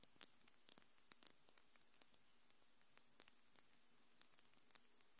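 Long, glittery, hard and solid acrylic fingernails are tapped and clicked against each other by both hands just in front of the mic. About two dozen very short, sharp, high-pitched clicks come at irregular intervals, with quick clusters among them. They sit over a quiet, steady hiss with no ringing after each tap.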